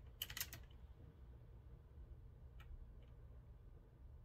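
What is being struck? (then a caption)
Metal-frame mechanical keyboard with round keycaps. Slow fingertip typing on a retro typewriter-style mechanical keyboard with a metal frame and round keycaps. A quick cluster of sharp, bright key clicks opens the clip, followed by a couple of fainter, sparse taps. A steady low rumble runs underneath throughout.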